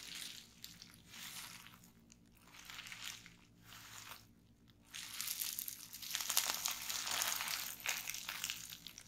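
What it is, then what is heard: Plastic bubble wrap. Fingers with long nails press, squeeze and pop bundled clear plastic bubble wrap resting on a table. Bright, crinkly plastic crackling comes in soft bursts with short pauses for the first five seconds, then grows louder and denser, with sharp little pops breaking through the rustle.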